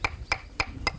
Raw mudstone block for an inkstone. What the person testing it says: 금이 있던 거 눈에 안 보이는데 그게 떨어져 나갔기 때문에 소리가 아까보다는 더 명쾌하지